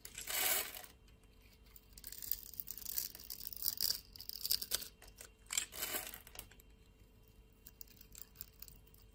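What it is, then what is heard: Bar of soap scraped with a blade. A utility knife blade scrapes small cubes and flakes off a solid blue bar of soap with a scored grid, held in the palm. Quiet, bright, crisp scraping and crackling strokes come in uneven bursts, with the loudest near the start and around the middle. There is almost no low end, and each stroke ends dry with no ring.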